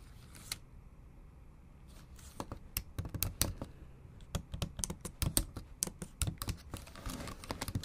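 A MacBook Pro laptop keyboard, with backlit black plastic keys set in a silver aluminum body, is typed on with long almond-shaped acrylic nail tips. The result is a run of sharp, bright clicks and taps with very short decay over a low background hum. The taps are sparse at first and grow denser and more irregular as the typing picks up.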